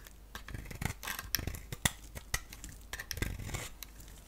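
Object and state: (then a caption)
Bar soap being shaved. A solid soap bar with a black outer shell and a green core is held in the hand and shaved with a box-cutter blade, including shaving off the black shell. Short, crisp scraping cuts come in quick bursts, each with a bright, crackly high edge and a soft low thump. The shavings peel away with dry rasping sounds that stop quickly, with no ringing.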